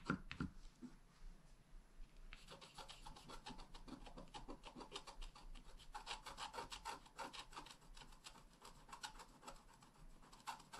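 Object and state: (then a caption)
Scratch-art card being scratched. A wooden stylus tip scratches a flat, black wax-coated scratch-art page, a solid thin card about A5 size lying on a table. Quiet, dry rasping strokes repeat in quick, uneven succession, with a bright scratchy texture that thickens after the first couple of seconds and keeps going to the end.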